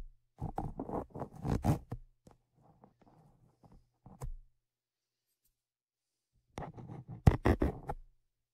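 Tweezers scratch and scrape the metal grilles of Zoom H5 X/Y microphone capsules, giving loud, close, gritty bursts heavy in low-end rumble with a dull hum under them. A long scraping run is followed by softer faint ticks and a short scrape, then a pause before a final loud burst of scratching.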